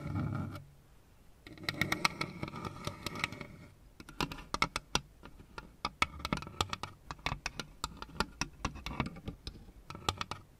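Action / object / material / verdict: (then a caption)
tap / hollow plastic figure lamp / plastic / none. Long red nails tap and click along the tops and fronts of a lit-up plastic Pac-Man and ghosts LED lamp, a row of hollow plastic figure panels on a base. A brief low rumble opens the clip, followed by a stretch of dense scratchy rustling. Then come many sharp, bright, hollow clicks that stop almost instantly.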